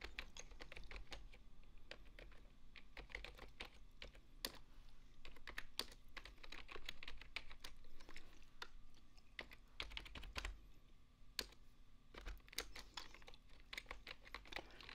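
Fingertips and nails type rapidly on a full-size beige plastic desktop keyboard, producing a quiet, continuous stream of sharp, bright key clicks. The clicks vary in loudness, with occasional louder taps standing out, over a steady low hum.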